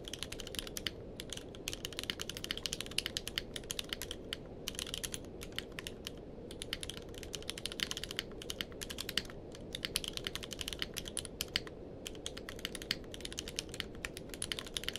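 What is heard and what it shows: Fingertips of both hands type steadily on a grey-blue tenkeyless mechanical keyboard with plastic keycaps. The result is a dense, continuous stream of short, bright clacking keystrokes with almost no ring, broken only by a few brief pauses, over a faint low background noise.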